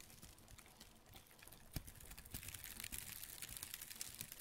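A hand-sized piece of light brown, rough, flaky dried bark, possibly cork bark, solid and layered, is held in black-gloved hands near the microphone and crinkled, scratched and rubbed with gloved fingertips. Soft, dense crackling and bright scratchy rustles run throughout at an uneven pace. They grow louder and busier after a sharp snap partway through, with more distinct crisp pops toward the end.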